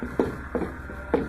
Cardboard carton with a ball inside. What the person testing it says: you can hear the ball moving around in there banging on the sides